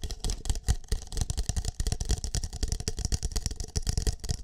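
An empty green plastic cup with a shamrock print is held over a microphone ear while fingertips tap and rub its side and base. A rapid, uneven stream of short, muffled, hollow thumps, heavy in the low end, mixes with softer scratchy rubbing and brief bright clicks. Each tap dies away almost instantly.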